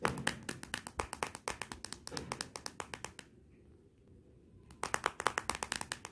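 Long nails tap rapidly on the glossy glass back of a Motorola smartphone lying face down, making about 35 short, dry, bright clicks with almost no ring. The tapping runs in a quick, uneven stream, stops for about a second and a half of near-silence, then resumes.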